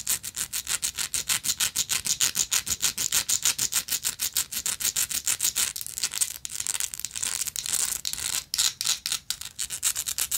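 Long nails scratch and tap a small, hollow, gold-tone textured metal lighter. The result is a fast, steady run of bright, dry scratching strokes with almost no low end. Midway the strokes blur into a denser, less even rasp before separating again.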